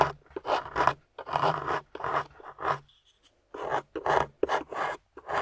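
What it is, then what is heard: Plaster dig block being scraped. A metal pick with a wooden handle scrapes and chips at a solid grey plaster excavation block among crumbled plaster debris, while long-nailed fingers hold the block steady. Short, dry, gritty scraping bursts repeat in quick strokes with brief pauses between them, their rasp centered in the mid range.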